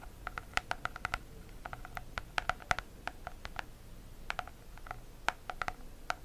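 Long acrylic nails tap and scratch across the textured, embossed holographic plastic cover of an A5 notebook. A quiet, irregular patter of short, crisp clicks, each with a brief hollow ring near 730 Hz and bright upper overtones, comes in loose clusters over a faint hiss.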